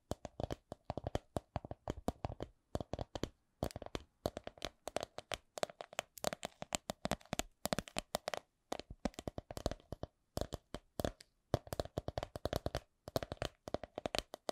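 A coin purse is tapped with quick, dry taps in bursts at a slow-to-medium pace, separated by short pauses. Each tap is soft and short with almost no ring, and carries a low thud under a mid-range knock.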